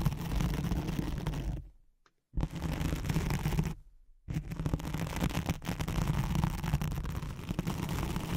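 Long nails scratch back and forth across a thin white hook-side nylon hook-and-loop velcro sheet laid over a microphone. The result is a dense, rough, low rumbling scratch that breaks off into two brief silences before carrying on steadily to the end.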